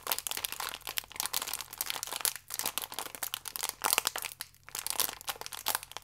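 A small Gran Cereale pack, a thin plastic film wrapper full of biscuits, is held and squeezed with the fingertips, crinkling the film. Dense, bright crackles come in quick bursts, with brief near-silent gaps around 2.4 and 4.5 seconds.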